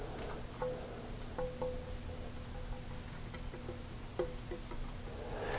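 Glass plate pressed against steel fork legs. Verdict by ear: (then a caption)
Tight. A glass plate held tight with the thumb against the bottoms of the steel front fork legs on a 1983 BMW R100RS/RT is tapped, giving only short, dull ticks with no ringing. Because the glass does not ring, both legs touch it and the forks are in alignment.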